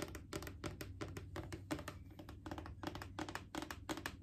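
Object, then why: Plastic wipes canister. Long painted fingernails tap on the side and near the lid of a Clorox disinfecting wipes canister, a hollow plastic cylinder. The result is a quick, uneven run of crisp, hollow clicks with a slight mid-toned knock, each dying away almost at once. A steady low hum sits underneath throughout.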